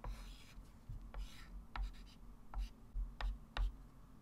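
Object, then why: Chalk stick on a framed chalkboard. A white chalk stick scratches and taps across a small flat framed blackboard resting on a table as a hand writes digits and draws circles and arcs. Seven short, bright chalk taps and strokes stand out at an uneven pace over a low, steady rumble.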